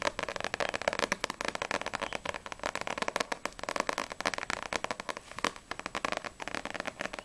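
A small, solid paperback manga (No.6 vol. 5) with a glossy paper cover is held in both hands and tapped quickly on the front cover with long nails. The result is a rapid, steady stream of crisp, dry clicking taps with a papery mid-range body and a bright edge, very little low end, and almost no ring after each strike.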